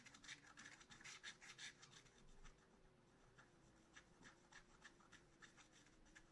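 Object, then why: Scratch art paper with wooden stylus. A wooden stylus scratches short strokes into the black coating of a scratch art paper sheet in a spiral notebook. Quick, bright raspy scratches come in a dense, louder run for the first couple of seconds, then turn sparser and softer over a faint steady hum.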